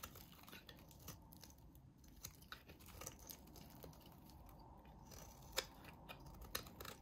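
A solid light green bar of soap is scraped and shaved with a utility knife blade, curls falling off. Quiet, irregular scratchy shaving sounds come with brief crisp clicks and soft crunches. The strongest snaps are near the end.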